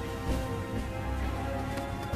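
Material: Nothing is struck.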